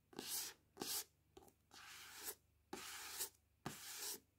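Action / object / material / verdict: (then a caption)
scrape / paperback book cover, glossy card / card / none. Long painted nails rub and scratch the glossy card cover of the paperback novel "The Selection," held in both hands over a wooden table. Six quiet bursts of bright, hissy scratching follow one another, some short strokes and some longer drawn-out rubs, with near silence between them.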